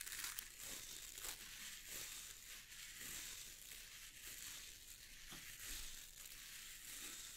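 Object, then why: Stiff boar bristle brush with wooden handle. Fingertips scratch and rub the stiff dark bristles of a boar bristle brush with a wooden wooden handle. It makes a steady, bright, crackling rustle with little low end, rising in a few slightly louder bursts.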